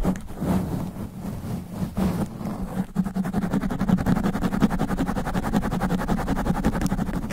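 Long black nails scratch fast and aggressively across a sponge foam microphone cover. The result is a dense, muffled, low-heavy scraping and rustling that settles after about three seconds into a rapid, steady rhythmic scratching.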